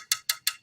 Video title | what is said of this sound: 4S1S - 4Sellers1Sale - 6/18 | it's not the shiny porcelain that's heavier it's lighter weight and it sounds lighter